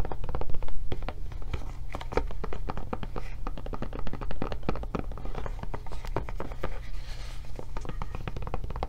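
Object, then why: Silicone rubber tablet case. Long nails tap and scratch the back and flap of a blue silicone rubber tablet case in quick, irregular bursts. The dry, short clicks and scrapes sit over a steady low hum.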